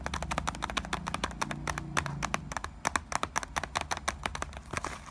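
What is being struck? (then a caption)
Small cardboard box of bouillon cubes. Fingertips and nails tap and scratch fast on the top of a small printed Knorr cardboard box of bouillon cubes, likely full, resting on a counter. It makes a rapid string of short, dry, hollow clicks with bright edges, centered around 1 kHz and ending almost instantly, over a low steady hum.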